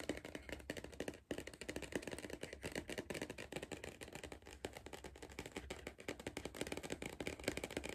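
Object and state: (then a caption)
Cardboard crisp tube being tapped. Fingers tap rapidly and continuously on a cardboard crisp tube, making a dense stream of short, dry, hollow knocks. The taps fade almost instantly and pause briefly just after the first second. A faint low hum runs underneath.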